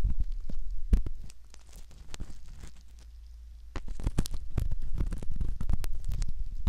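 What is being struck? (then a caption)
Silicone ear model scraped with a metal ear pick. A metal ear pick scratches and rubs at the canal entrance of a soft silicone ear model. Close, low, muffled scraping and scratching, with dense bursts of quick strokes. These strokes ease into a quieter stretch near the middle before picking up again.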